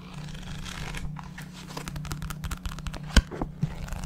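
A paperback book with a paper cover and pages is held in the hands while its pages are flipped and riffled and the fingers handle and tap the cover. Soft papery rustling and crinkling gives way to a run of dry, crisp page flicks and short taps over a steady low hum. A sharp, loud tap stands out just after three seconds, followed by a smaller one shortly after.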